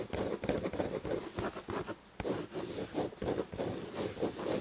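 Long red nails on both hands scratch the textured chenille upholstery of a padded fabric chair back. The result is quick, uneven, scratchy rustling strokes centered in the midrange, with a brief lull around the two-second mark before the scratching resumes.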